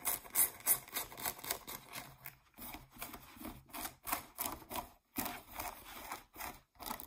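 Fingernails scratch over a pair of blue denim jeans, working across the brown back label patch and the fabric around the back pockets. The result is a quiet, dry, raspy scraping in short, uneven bursts with brief pauses, bright and hissy on top with little low end.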